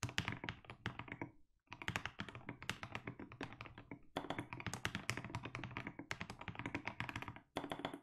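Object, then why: Mechanical keyboard with plastic keycaps. Fingertips type continuously on a 60% mechanical keyboard with blue and grey plastic keycaps, producing a fast stream of deep, thocky key strikes. Brief pauses break the typing near 1.5 and 7.5 seconds.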